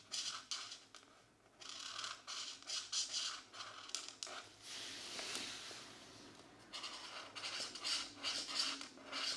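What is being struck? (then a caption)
Felt-tip marker on a paper coloring book page. A marker tip rubs and scratches across the thin page of an open paper coloring book resting on a desk mat while coloring a mandala. Bright, hissy strokes come in uneven bursts with short pauses, with almost nothing in the low range.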